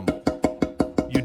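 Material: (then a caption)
Fiber cement. A screwdriver taps and lightly strikes a sanded-smooth patch in a hole in a broken fiber cement roof tile, made from layers of charcoal bonding powder, super glue and fiberglass strands. A steady, evenly spaced run of short, dry, wood-block-like knocks with a brief mid-pitched ring follows. The patch holds solid and tight with no crumbling.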